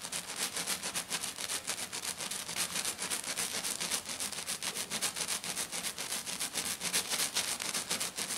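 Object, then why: Glitter-coated sheet. Long black nails scratch a flat, silver glitter-coated sheet lying on a table, fast and aggressively. The result is a dense run of bright, gritty rasps in a steady, rapid rhythm with little low end.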